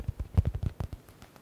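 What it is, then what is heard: Faux leather stress ball, soft. Fingers and nails tap quickly on a soft yellow stitched smiley stress ball with a faux leather cover. Nine dull, low thuds with short bright clicks land in the first second, then the sound fades to quiet.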